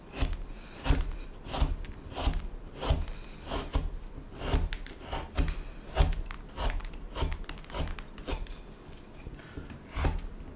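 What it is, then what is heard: Wooden spoon blank being carved. A small knife carves along the neck of a solid, light wooden spoon blank resting on a cutting mat, using scraping cuts. Dry, rasping scrapes repeat at an uneven pace of roughly one to two per second. Each stroke carries a soft low thump and a brief bright, papery hiss that fades quickly.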